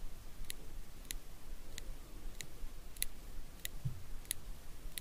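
Small solid steel eyebrow tweezers held in the fingers have their tips pinched and clicked together eight times at a steady pace, about two-thirds of a second apart. Each click is a very short, bright, high metallic tick with almost no ring, over a faint low hiss.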